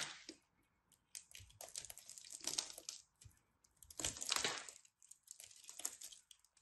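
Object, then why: Ball of pressed soap shavings cut with a metal knife. A metal craft knife cuts and scrapes chunks off a solid ball of pressed soap shavings held in the hands. The result is a series of dry, bright, crunchy carving and scraping bursts with short pauses between strokes.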